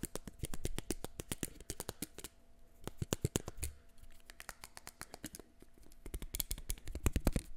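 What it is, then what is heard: Plastic eyeglasses. Fingertips tap the lenses and frame of a pair of small, solid, black plastic-framed eyeglasses held close to the mic and click the hinges open and shut. Rapid, crisp, dry clicks and taps ring only briefly, over soft, low handling thumps. The tapping comes in quick bursts with a short, quieter lull partway through.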